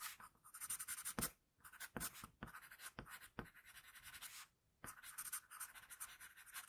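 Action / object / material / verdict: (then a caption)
scrape / wooden pencil on a paper sheet / paper / none. A wooden pencil shades and scratches lines across a flat sheet of paper. Quiet, bright, hissy strokes come in quick bursts with short pauses between them.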